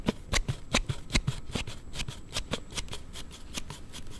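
A Note7 smartphone in a hard plastic slide case is held in both hands while a thumb pushes the sliding part back and forth. This makes an irregular series of short, sharp rubbing clicks with a bright, crackly edge over a low scuffing thump. The case produces an abnormal clicking as it slides.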